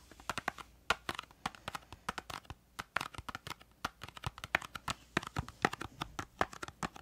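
Long acrylic nails tap rapidly on a small, hollow, printed yellow-green cardboard crayon box held upright. About 40 quick, dry, hollow clicks come in an irregular stream, each dying away almost at once.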